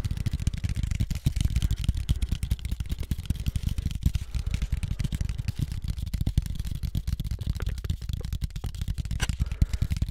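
A thin, flat brown cardboard sheet cut in the shape of a floppy disk is tapped and scratched rapidly with fingertips and nails. The result is a dense, continuous run of short, dry, dull taps, mostly low thuds, with a faint scratchy rustle on top.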